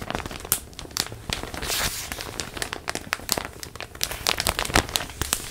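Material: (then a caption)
Plastic. A large printed plastic zip bag holding a stuffed pillow is held against the mic and crinkled and squeezed with hands and nails. Dense, bright crinkling and crackling comes in many sharp, quick pops over a steady rustling hiss, with brief louder snaps throughout.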